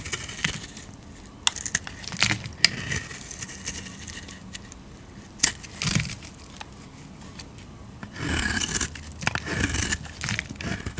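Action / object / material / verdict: scrape / bar of soap / soap / none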